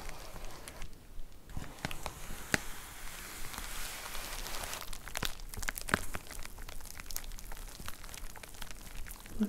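Fingers grip the edge of a white plastic poly mailer envelope with a box inside while long nails scratch and crinkle the plastic. Busy, irregular crinkling and scratching is heard, with sharp, bright clicks standing out over a soft rustle.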